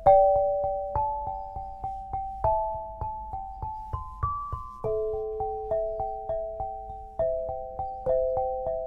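An 8-bar lithophone of solid black granite slabs on a low frame is struck quickly with two soft-headed mallets, red and green balls on wooden sticks. A melody of clear, ringing tones in the mid register sustains and overlaps between taps, with pitches rising and then stepping down.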